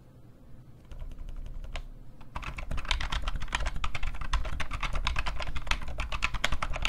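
An IBM PCjr keyboard with an off-white plastic case, hollow housing and rubber dome keys sits alone at first, with only a few scattered soft key clicks. Then both hands type on the keys with their fingertips, pressing and tapping them in a fast, uneven stream of clacks. Each press has a dull, low, hollow thud and a short, bright click.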